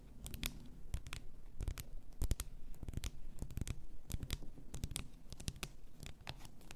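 Long nails tap and scratch the sides and shoulder of a clear glass bath salt bottle full of pink salt. Many quick, sharp, bright clicks and scratchy strokes come in irregular bursts over a low, steady rumble, each tap dying away almost instantly.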